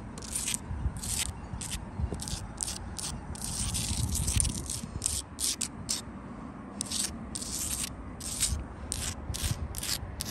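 Long light-blue acrylic nails scratch across the gritty face of a solid outdoor wall of rough-cut reddish sandstone blocks set in mortar. Quick, bright, raspy scraping strokes come in a steady rhythm over a low, rumbling background.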